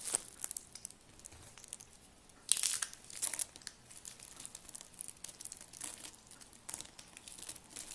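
Thin, brittle rolled curls of green, pink and purple dry soap are crushed and crumbled between fingertips with long lavender nails over a pile of soap flakes. The result is a steady run of dry, bright crinkling and crackling crunches. Louder bursts of crunching come around the middle of the clip.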